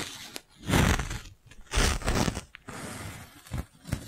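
A clear, thin, hollow plastic magic balloon bubble about the size of a fist is held in the hands and rubbed with the palm and fingers. Broad crinkly, scraping swells with a low rumble alternate with short, sharp plastic clicks and crackles.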